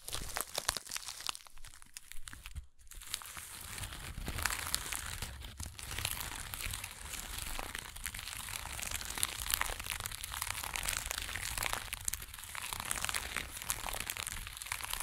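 Long acrylic nail tips scratch across the coarse weave of a small burlap jute pouch lying on a fur blanket. The result is a dense, continuous, bright crinkling scratch with rapid crackly ticks over a faint low rumble, briefly dropping out just before the three-second mark and then resuming steadily to the end.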